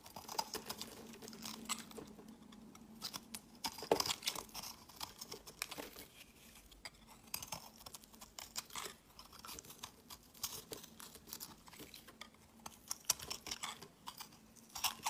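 A utility-knife blade scrapes the surface of a solid peach rectangular soap bar held in the hand, shaving off crumbly flakes. The sound is quiet and made of dense, bright, crackly scraping with many quick ticks and crisp bursts over a faint, steady low hum.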